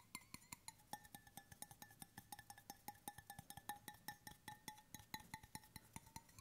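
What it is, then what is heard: Stainless steel water bottle tapped. Fingertips tap the base and side of a hollow stainless steel water bottle in a quick, steady run of 42 light taps. Each tap is a short, dry knock with a faint metallic ring near 870 Hz and a brighter overtone around 1.8 kHz that fades almost at once.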